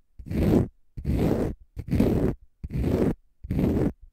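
A palm-sized, pale green konjac fiber facial sponge, solid and porous, is scratched with fingernails. Five long, rough, rasping strokes come in a steady rhythm with short silences between them. Each has a dense, low-heavy body and a fainter bright hiss on top.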